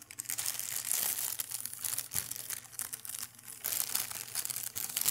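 An empty, long, thin, clear translucent plastic bag is held up and crinkled and rubbed by hand. It makes a dense, bright, continuous crackling with almost no low end. The sound comes in louder bursts and has a brief quieter stretch partway through.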